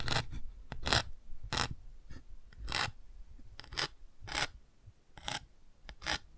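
A thin bamboo ear pick scratches and traces over the textured chick patch of a large touch-and-feel children's board book with thick cardboard pages, held open. Short, bright raspy strokes repeat at an irregular pace across the clip, each brief and dry with a soft low thump beneath.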